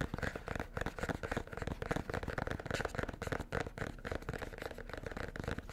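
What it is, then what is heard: Cardboard gift box. A small, hollow red cardboard gift box with white polka dots and a white ribbon bow is held close to the mic and tapped and scratched with fingertips and nails. Dense, quick, dry taps and scratchy crackles with a low hollow body run continuously throughout the clip.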